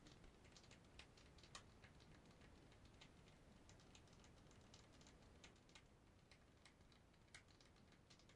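Long white nails tap on a hollow black PSP handheld game console with a silver plastic rim, heard in close-up. Quiet, irregular, bright clicks patter over a steady low background hiss, with a few sharper taps standing out and each one dying away almost at once.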